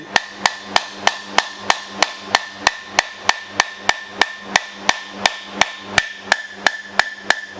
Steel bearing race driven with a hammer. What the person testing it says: it'll make a different sound when it gets all the way to the bottom it'll be like almost like you hit something hard like concrete